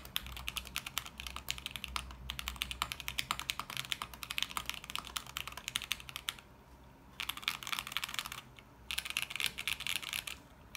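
Both hands type continuously with their fingertips on a small 40% mechanical keyboard with beige plastic keycaps in a lit clear acrylic case. The result is a rapid, steady stream of short, bright clacks centered near 3 kHz, with almost no ring and little low end. The typing breaks off in two brief pauses near the end before resuming.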